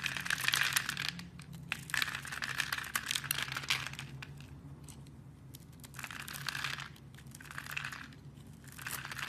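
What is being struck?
Soap bar.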